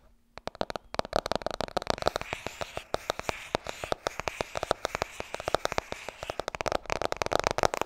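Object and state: Paperback book tapped with nails.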